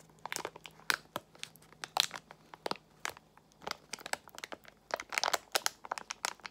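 A small Extra gum pouch made of foil-lined plastic is crinkled in both hands with long nails. It gives a dense run of sharp, bright crackles and crunches over about six seconds, each one dry and dying away almost at once.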